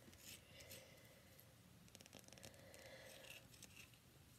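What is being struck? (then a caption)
Bar of soap. A palm-sized, solid cream-white rectangular bar of soap with embossed lettering is tapped and scratched with fingernails. The result is quiet, dry, bright scratching and light clicking taps over a soft low hum.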